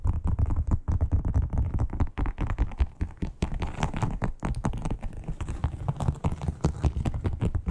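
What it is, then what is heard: Textured leather wallet. Long acrylic nail tips tap and scratch quickly across a flat red crocodile-textured, croc-embossed leather wallet. The result is a dense, uneven stream of soft, dull, low-heavy taps with brief scratchy rasps between them, each dying away almost at once.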